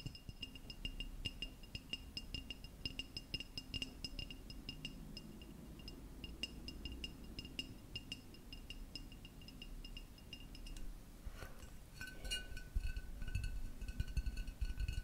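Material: Ceramic.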